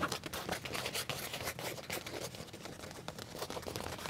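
Fingernails scratch and tap on a black leather trouser leg with a pocket, producing a quick, uneven run of dry, crinkly scrapes and soft taps. The sound is bright and close, with little low end, and each touch dies away almost at once.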